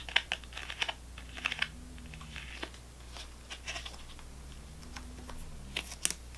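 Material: Plastic, foil.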